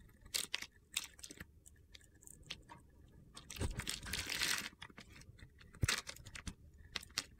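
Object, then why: Glitter-coated soap bar. A metal cutter blade scrapes crunchy flakes and slivers off a solid red glitter-coated soap bar with a teal interior, held in the hand. Quick, sharp, bright crackling scrapes come in irregular bursts, with one longer gritty scrape in the middle, each dying away almost instantly.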